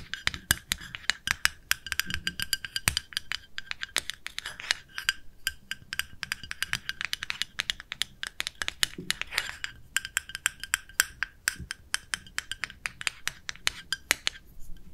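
A small, round, pale pink plastic cosmetic jar with a lid, held in the hands, is tapped and scratched with long nails. This makes a rapid, irregular stream of sharp, dry clicks with a bright, hollow plastic tone centered near 2 kHz. Each tap dies away almost instantly, and faint scratching fills the gaps between them.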